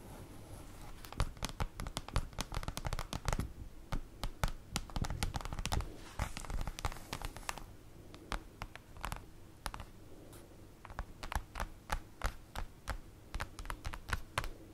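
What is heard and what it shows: Long acrylic nail tips tap rapidly on a large, flat, black printed paper or cardboard folder lying on a table. The result is a dense run of short, dry clicks and light scratchy crinkles over a low, steady background, with bursts of quicker tapping and brief pauses.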